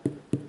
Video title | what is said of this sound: How To Avoid Protein Deficiency | sounds a little bit hollow, ripe and ready to go